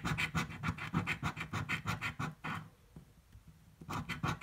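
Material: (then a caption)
Paper card. A coin held in the fingers scratches the coating off a thin blue paper scratch-off lottery ticket lying on a table. Quick, rasping strokes repeat rapidly with a bright, gritty edge. They pause briefly before a final burst of scratching.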